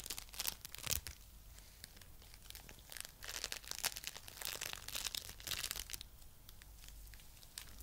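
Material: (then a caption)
Foam beads. A coral-pink lump of foam bead clay is pressed and rubbed with fingertips and nails. It gives dense, bright crackling and crunching, with sharper bursts near the start and in the middle over a soft, steady background hiss.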